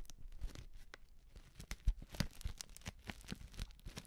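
Long nails scratch and crinkle a small, filled Betty Bossi Fladli instant soup packet made of plastic foil. The result is a rapid string of dry, crackling crinkles and short scraping taps, with a low thump underneath and brief bright ticks.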